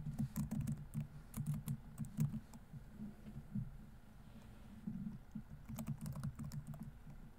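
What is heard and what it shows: Fingertips tap the plastic keys of a laptop keyboard, producing quick, clicky keystrokes with a soft, low, thumpy body. The typing comes in bursts, goes quiet for about a second partway through, then resumes.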